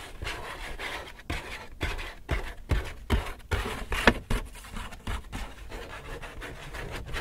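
Fingers rub and scratch across the surface of an empty white Hudson's Bay paper shopping bag. The result is a dry, papery rustle of uneven, repeated strokes with brief pauses between them, plus one sharper, louder scratch around the middle.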